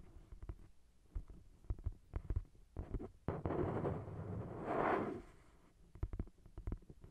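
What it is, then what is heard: Paperback book tapped and scratched. Long nails tap and scratch the glossy card cover of a thick paperback novel, a solid block of paper. Dull, low taps come in scattered bursts, broken by a longer stretch of brushy scratching in the middle.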